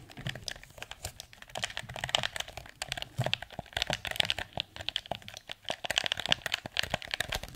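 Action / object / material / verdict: tap / plastic game controller / plastic / none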